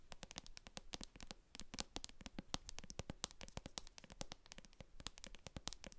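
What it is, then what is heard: Plastic cosmetic jar tapped and scratched with nails. Long acrylic nails tap and scratch the base of a translucent plastic jar filled with white cream, with a barcode sticker on the bottom. A quiet, steady stream of quick, sharp, bright clicks comes through, each dying away almost instantly, mixed with light scratchy friction.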